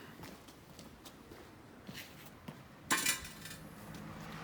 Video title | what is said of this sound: Elle renaît de ses cendres 😍🙏🏽🔥 !!! | Ça sonne le son des cloches.